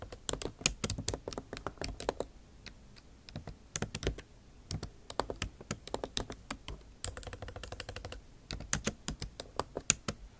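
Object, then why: Laptop keyboard, plastic keycaps in aluminium body. Long nail tips type on a backlit MacBook Pro keyboard with plastic keycaps set in an aluminum body. The result is a steady stream of crisp, bright clicks and taps in quick bursts with short pauses, each one dry with almost no ring.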